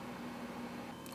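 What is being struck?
Nothing is struck.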